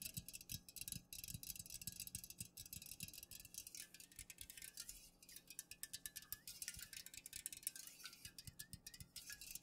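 A fingernail taps quickly on the sides of an unopened, full Pepsi aluminum can held in the hand, first upright and then tilted. Dozens of short, dry clicks carry a bright, high metallic tick with a soft low thump under some taps, and each one dies away almost instantly.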